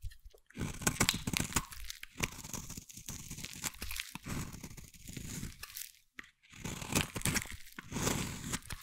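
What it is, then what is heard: Bar soap being scraped. A hand-sized solid green bar soap is scraped with a metal blade into crumbly shavings. Repeated crunchy, crackling scraping strokes come in bursts separated by brief pauses, with a dense low body and a bright, high crackle on top.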